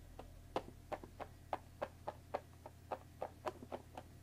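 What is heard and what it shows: Long dark nails tap and scratch the top edge of a closed Earl Grey tea box made of thin printed cardboard, about 20 cm long and likely full of tea bags, resting on a wooden table. Fourteen short, dry, hollow taps land at an uneven pace; each has a midrange knock, dies away almost instantly, and carries a faint scratchy edge. A low steady hum runs underneath.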